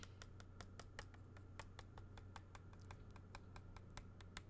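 Fingertips tap a small, square black picture frame held in the hand: a hollow, shallow frame with a glass-fronted drawing, struck on both the frame and the glass front. A quick, steady series of short, sharp, bright clicks rings only briefly, heard quietly over a constant low hum.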